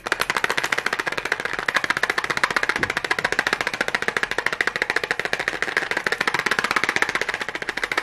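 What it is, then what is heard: Cardboard matchbox. A small red cardboard matchbox, likely full of matches, is tapped and scratched rapidly with long nails and fingertips. The result is a steady, fast stream of dry, crisp clicks and scratchy rustles, with a papery tone around 1.8 kHz, bright edges, almost no low end, and each tap dying away instantly.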